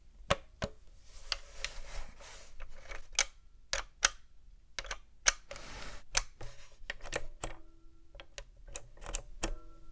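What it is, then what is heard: Plastic game console tapped with nails. Long nails tap the lid and top casing of a black hard-plastic Nintendo GameCube console, a hollow box, then move to tap the front panel around the controller ports. The result is an irregular series of sharp, bright, clicky plastic taps that die away almost instantly, with a faint hollow knock underneath and a quiet background between them.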